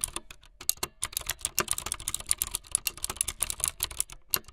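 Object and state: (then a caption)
Plastic mechanical keyboard. Fingertips with long light-blue nails type fast on a full-size plastic mechanical keyboard with white, blue and yellow plastic keycaps and a blue backlit frame. The result is a rapid, uneven stream of short, bright, clacky key strikes. Each strike stops almost instantly, with little low end.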